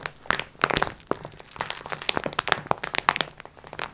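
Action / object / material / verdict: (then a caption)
scrape / multipack in plastic film wrapper / plastic film / none. Long red nails scratch and tap a flat "Multi Pack x4" package wrapped in crinkly plastic film. Sharp, bright crinkles and quick clicking taps come in a dense, uneven stream, with almost no low end and no ring after each touch.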